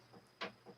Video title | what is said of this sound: Let's Recap The Evening | you hear how solid that is that plinth is made of corian